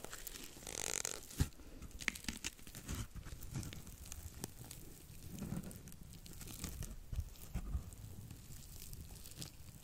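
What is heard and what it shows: A porous, dry blue cellulose sponge is bent and scratched with long nails just above the microphone. The result is a continuous, crackly scratching and crunching texture with a soft low rumble, brief bright hissy bursts, and a few sharper clicks.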